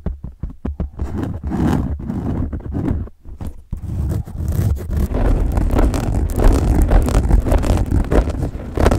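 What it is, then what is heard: Soft foam dice being rubbed. Hands rub and squeeze a large pink soft dice with a textured foam/plastic surface close to the mic. The result is muffled, low-heavy scratching and crackling in irregular bursts that briefly quiet down before building into denser, continuous rubbing.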